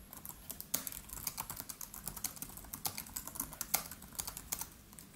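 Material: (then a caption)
Plastic. Both hands tap with their fingertips rapidly on a MacBook Pro's built-in keyboard, whose black plastic keys sit in a silver aluminium case. The result is a quiet, steady stream of light, bright, crisp clicks that stop almost instantly, with a few sharper taps standing out.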